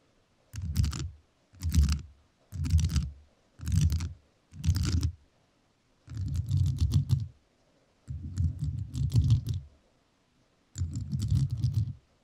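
Metal nails tap and scratch across a rhinestone-covered microphone in eight separate bursts of rapid clicking. Five short bursts come first, then three longer scratchy passes, each a dense, low, muffled rattle with faint bright clicks on top and quiet gaps between.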